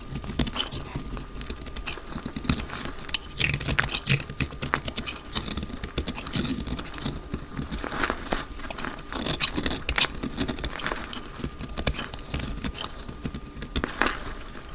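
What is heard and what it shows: A utility knife blade cuts a solid, palm-sized, dry pink speckled soap bar held in the hand into flakes. The result is a steady stream of dense, crisp scraping and crackling with many tiny bright clicks and short rasping strokes throughout. A faint steady tone sits underneath.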